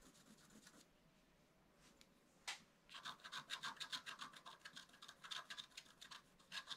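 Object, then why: Coated scratch-art card scratched with a wooden stick. A wooden stick scratches strokes into a flat, black-coated scratch-art card. After faint, soft rubbing, one sharp scratch stands out, then a quick, uneven run of bright, raspy strokes continues to the end.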